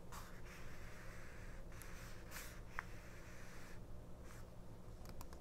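Long painted nails tap and scratch the printed pages of a small 1999 paper mini-book, an open paperback booklet with thin matte pages lying flat on a fabric cloth. Soft, dry papery scratches and light ticks come in short bursts over a steady low background hum. The sound stays quiet and close throughout.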